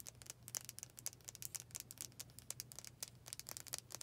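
Long painted fingernails rapidly tap the solid dark wooden back of a hand-sized brush with black bristles. Short, bright clicking taps come in a fast, uneven run, each dying away almost instantly over a faint steady low hum.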